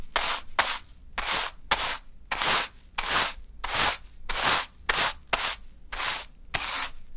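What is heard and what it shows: A small natural-fiber hand broom, held in the fingers, sweeps a small heap of fine pink sand across a dark surface. About thirteen soft, bright, hissing brush strokes come in an uneven rhythm, each a short rubbing swish that fades quickly into near silence.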